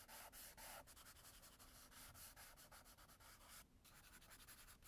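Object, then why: Graphite pencil on a paper sketchbook page. An orange graphite pencil scribbles dense hatching back and forth across a tan toned sketchbook page lying flat. It gives a steady, bright rubbing and scratching sound in quick strokes, with a brief pause near the end.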